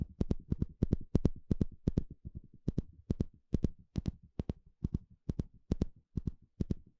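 A small blue plastic comb with fine teeth, held in the hand, has its teeth scratched and flicked with a thin plastic stick. Its dry, crisp clicks arrive in quick, uneven pairs and short bursts, with bright snaps over a soft low thump. Each flick dies away almost instantly, with no ring.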